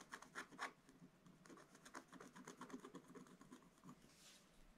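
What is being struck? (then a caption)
Black-coated scratch-art paper scratched with a wooden stylus. A wooden stylus scratches the lower part of the picture on a flat, black-coated scratch-art paper page. Three louder, dry scratches open the clip, followed by a quicker run of softer, rasping strokes. The scratching ends in a faint, airy hiss.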